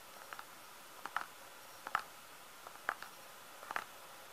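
Fingertips tap on a filled plastic squeeze tube of hand cream, making soft, dry clicks that arrive in small irregular clusters. Each tap is short, with no ring, and centers on a hollow midrange tone around 1.3 kHz with a little bright edge. The taps stand over a faint steady hiss.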